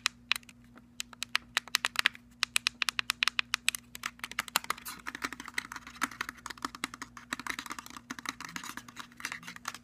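A cylindrical black JBL portable speaker with a plastic body, a perforated metal grille, a rubberized end cap and silver trim is tapped rapidly with fingernails on its end buttons and body. Quick, bright, dry clicks with no ring come at an uneven pace, growing denser and busier toward the end over a faint steady low hum.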